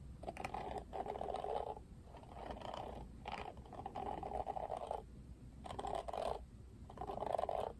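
Fingertips and nails scratch across the plastic bristles of a Barbie plastic paddle hairbrush. The sound is a series of dry, raspy scratching bursts centered in the midrange, separated by short quiet gaps over a faint low hum.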